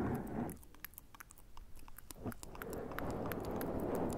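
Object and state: Foam microphone windscreen.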